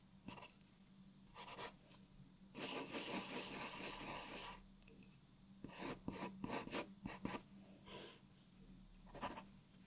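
A graphite pencil draws outlines on a white sheet of paper resting on a wooden table, producing bright, dry scratching strokes. Short scribbles alternate with a longer sustained stretch of drawing. A faint steady low hum sits underneath.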